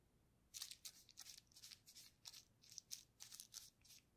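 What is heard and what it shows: A paintbrush loaded with purple paint is rubbed and dabbed over a flat sheet of clear plastic bubble wrap with air-filled bubbles and painted colored stripes, lying on a table while a gloved hand steadies it. The result is a quick series of soft, bright, crinkly brushing and scratching bursts with almost no low end, separated by brief quiet gaps.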